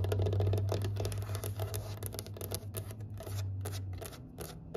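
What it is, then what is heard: Wooden table top tapped with nails. Long nails tap quickly across a large, solid, pale wooden table top, with a wooden tray sitting nearby untouched. The taps come as a fast, fairly steady run of light, bright clicks over a constant low hum.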